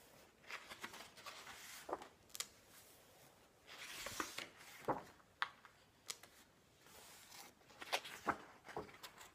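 A flat hand and fingertips turn and brush the glossy paper pages of a large illustrated hardcover book resting on a wooden table. Soft, airy swishes of sliding paper are broken by a string of sharp, crisp flicks and snaps, bright and quiet with almost no low end.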